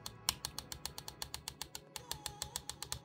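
A metal fan shroud inside a 2024 Asus G16 laptop is tapped very lightly about 22 times in quick succession, giving sharp, bright clicking rattles with almost no ring. The shroud is loose because the fan is not secured in its correct position and the screw is mounted on the other side, a factory quality-control fault.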